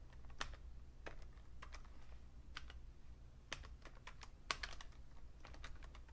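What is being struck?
Plastic computer keyboard.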